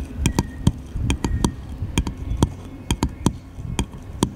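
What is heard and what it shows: A small, light, solid wooden paddle-shaped piece is held in the hand and tapped with the fingertips, giving 14 quick, dry taps. Each tap is a soft, low knock with a faint bright click and almost no ring, spread unevenly over a quiet background.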